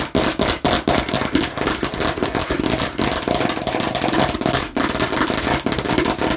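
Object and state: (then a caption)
Plastic watermelon slice. Aggressive tapping and scratching on a fake plastic watermelon slice. A dense, rapid stream of sharp, dry plastic clicks and rasping scrapes runs throughout, with brief dips between bursts. Each tap dies away almost instantly with no ring.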